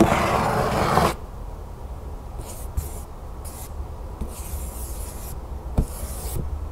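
Long nails scratch and rub along the sides and lid of a large, hollow decorative cardboard storage box printed with butterflies and birds. A loud, broad rasping rub fills the first second, then gives way to quieter, intermittent hissy scratching strokes, with two soft taps.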